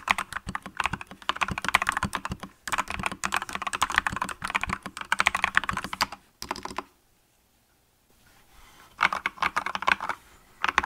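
A green-cased mechanical keyboard with yellow and green plastic keycaps is typed on by both hands with long nails, giving a steady stream of quick, clicky key presses with a bright midrange tone. The typing comes in bursts, with a brief pause near the middle and a quiet stretch before it resumes.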